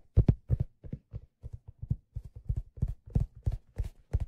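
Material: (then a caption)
Leather. Fingertips tap the stitched leather crown of a hollow black leather fedora that is held up and turned. The result is a quick, uneven series of soft, dull, low thumps, roughly three per second, each dying away almost at once with little brightness.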